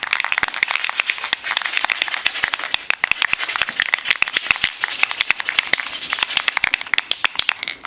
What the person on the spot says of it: shake it until you don't hear the ball rattling anymore